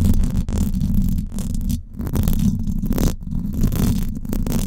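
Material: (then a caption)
Metal wire. Long acrylic nails scratch the hollow, silver woven-wire dome grille of a Blue Yeti microphone. The result is a dense, boomy rumble of scraping, heavy in the low end around 86 Hz, that swells and dips briefly in level throughout.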